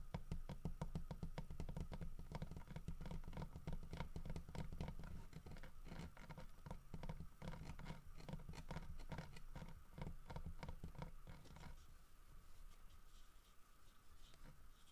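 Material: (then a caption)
Wood. Fingernails scratch and tap quickly across the grooved surface and snout of a solid carved wooden bear head, making a dense, uneven patter of dull, low, short knocks mixed with scratching. Around twelve seconds the tapping thins out to softer scratches, while a faint steady tone continues underneath throughout.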